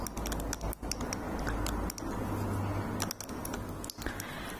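A small, slim clear glass perfume bottle filled with liquid and holding a red rose inside is held up in one hand and tapped with long red painted nails. Quick, light, bright ticks come in a steady patter over a low continuous hum.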